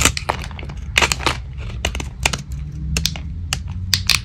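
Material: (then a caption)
Soap. A metal blade carves and shaves brittle flakes off a small, solid, dry soap bar with its paint mostly removed, now white with a purple rim, held in the hand. Irregular crunchy scraping and crumbling cuts sound over a low steady hum, bright at the top. Shavings pile up on the table.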